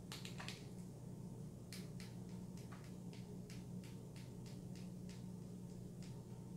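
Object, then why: Plastic supplement bottle. A Spring Valley garlic softgel bottle, hollow plastic with a paper label and full of capsules, is tapped and tilted with long nails. Quick, bright clicks and taps repeat over a steady low hum, with a few quick bursts near the start followed by evenly spaced taps.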